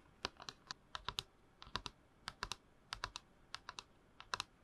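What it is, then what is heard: Plastic cup tapped with fingernails. Long manicured nails tap and scratch a tall, hollow, empty plastic movie promo tumbler with a printed movie poster wrap, held in both hands. About twenty-one quick, dry, bright clicks come in uneven bursts, each dying away almost instantly, with a hollow tone near 1 kHz.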